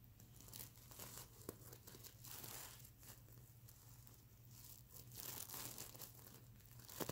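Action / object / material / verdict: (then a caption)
scrape / plastic sequin fabric pillow / plastic sequins / none. Fingernails scratch and rub the plastic sequins on a sequin-covered stuffed mermaid unicorn pillow. The result is a continuous, bright, crinkly rasping that swells and fades in waves, over a steady low hum.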